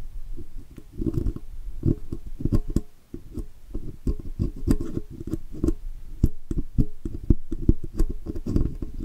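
A steel pick scratches along the letters and rim of a chrome oval logo badge on a metal microphone body. It makes a dense run of close, dull scraping ticks and clicks, heavy in the low end, with brief bright snaps that die away almost at once.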